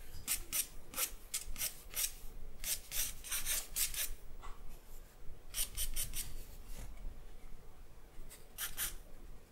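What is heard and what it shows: A charcoal stick makes short scratching strokes on the surface of a white drawing paper sheet. The strokes come as quick, bright, raspy bursts in clusters with brief pauses between them, over a low, steady background rumble. Each stroke stops abruptly with almost no ring.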